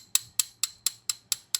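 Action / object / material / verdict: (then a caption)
tap / steel bearing puller rod tapped with a socket / steel / hollow. A socket taps a steel bearing puller rod seven times in an even rhythm, each strike a sharp, bright, hollow-sounding click that dies away almost at once. The rod is not yet seated against the crankshaft, so it gives this hollow tone.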